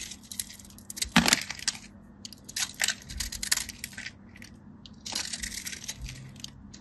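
A metal craft knife carves and scratches across the scored surface of a solid, dry, hand-sized white bar soap held in a hand with blue nails, releasing small cubes. The sound is a run of crisp, bright, dry scraping and crumbling clicks with very short decay, with louder bursts of crunching as the cubes break away.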